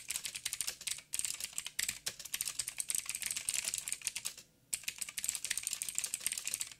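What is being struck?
Mechanical keyboard with plastic keycaps.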